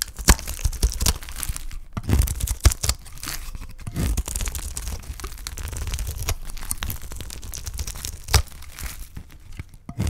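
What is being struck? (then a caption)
Bar of soap shaved with a blade. A utility knife blade shaves the edge of a solid, dry green soap bar held in the hand, peeling off curls. The result is a continuous dry, crunchy scraping and tearing texture, broken by sharp, brief cracks and crisp crinkles that cut through a low, dense rumble.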